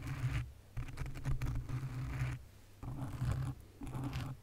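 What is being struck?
Foam microphone windscreen.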